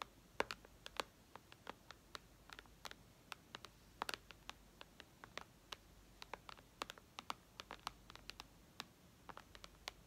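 Long red nails tap on the glass touchscreen of a white iPad lying flat. The result is a quiet, irregular stream of short, dry clicks with a bright edge and almost no ring, over a faint background hiss.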